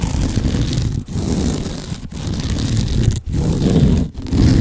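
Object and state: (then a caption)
Sisal rope scratching post. Nails scratch and rub quickly over a sisal rope cat scratching post, a large cylinder wrapped in natural sisal rope, raking the fibrous surface. The result is a dense, low, rough scraping texture in five continuous bursts separated by brief pauses.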